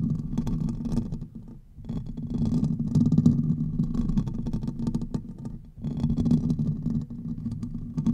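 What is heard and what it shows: Fingertips and nails of both hands scratch quickly across the hollow metal mesh grille of a large silver Blue Yeti-style USB microphone. The result is a dense, booming, rumbly scratching with a strong low-frequency body and faint brighter crackle on top. It comes in sustained bursts, easing off briefly around 1.5 and 5.7 seconds before picking up again.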